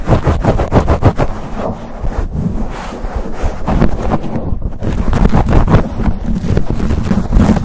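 Fingertips and short nails of both hands rapidly scratch and squeeze a black foam windscreen on a silver condenser microphone. The result is a dense, boomy, low-heavy rustling and thumping with rapid scratchy bursts. It eases briefly in the middle, then swells louder again.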